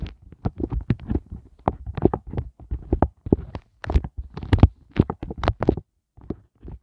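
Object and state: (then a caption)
Silicone ice cube mold tapped. Fingertips and glittery nails tap and scratch the hollow heart bumps of an empty, inverted pink silicone heart ice cube tray. The result is rapid, irregular bursts of soft, dull low thumps with brief bright clicky scratches. Short pauses separate the bursts, and each hit dies away almost instantly.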